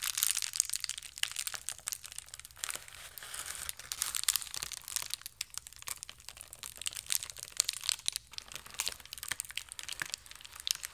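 A blue and white plastic mailer bag, folded into a small bundle, is crushed and crinkled with the fingers. It makes a steady stream of bright, crisp crackles and sharp snaps with almost no low end. The sound continues for the whole clip with no talking.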